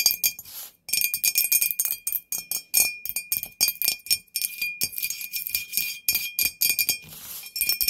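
A ghost-shaped candle holder is tapped rapidly with fingernails, giving a long run of bright, glassy clinks with a steady high ring. Each tap fades almost instantly, with short pauses between bursts.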